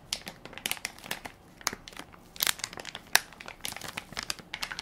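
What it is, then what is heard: Plastic film pack of wipes crinkled. A hand-sized Equate baby wipes soft pack made of crinkly plastic film, full of wipes and held in one palm, is pressed and crinkled by fingertips and nails. The result is a quiet, steady stream of bright, dry crinkles and crackles with almost no low end, punctuated by a few sharper, louder snaps.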